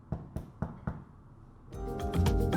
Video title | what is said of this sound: Easy Dishes – Whole-Wheat Dinkel Bread | the bread is done when it sounds hollow on the inside